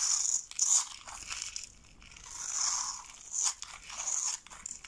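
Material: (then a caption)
Soap. A metal box-cutter blade scrapes and shaves a hand-held, solid rectangular bar of dry light-blue soap scored in a grid, with brittle flakes and slivers falling into a pile below. The result is a series of bright, dry, crunchy scraping bursts, high-pitched with almost no low end.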